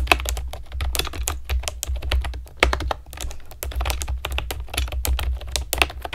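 Long nails and fingertips type steadily on a pastel plastic keyboard with round keycaps, producing a rapid run of short, bright clicks and clacks. A steady low hum sits underneath the typing throughout.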